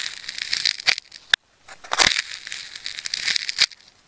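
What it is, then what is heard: Plastic tape ball being cut. A metal craft knife slices and peels layers of wound red, yellow and black plastic tape from a hand-sized tape ball that is already partly cut open into layered ridges, while fingertips hold the ball. The result is a bright, dense crinkling and scratching sound with sharp crackling snaps. A brief silent pause comes after a sharp click, and then the cutting resumes.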